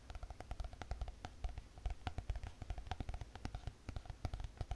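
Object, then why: Spiral notebook with hard cardboard cover. Long painted fingernails tap fast on the hard cardboard cover of a closed spiral notebook. The result is a rapid, uneven run of soft, dull thumps with light clicky ticks. Each tap dies away almost instantly.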